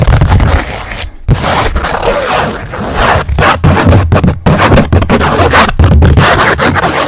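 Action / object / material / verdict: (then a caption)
scrape / stretched canvas on a wooden frame / canvas / none. Long nails scratch and tap across the face of a blank white stretched canvas about 20 cm square, then move to its edge. The result is a dense, close, loud scraping with a strong low thump underneath, broken by short silent gaps and sharp taps.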